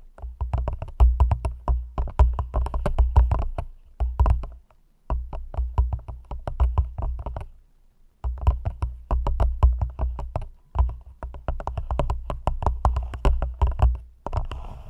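Long nails tap rapidly on the walls of an empty, hollow, thin clear plastic cup held over a microphone. The taps come in quick clattering bursts separated by short pauses. Each tap carries a deep, boomy low thump with a hollow, clicky top and a very short ring.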